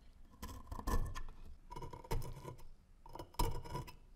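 A gloved hand uses a thin pointed metal pick to scrape rust off the blade and handle of a corroded, rust-covered antique brass-alloy dagger, solid and about hand length, lying on a wooden slice. Three bursts of repeated scratching and scraping are heard, with a steady mid tone and sharp, bright clicks on top. Each burst ends in a sudden louder scrape.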